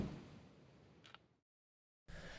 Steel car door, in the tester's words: this is something you don't hear on new cars these days this is a very solid sounding door thunk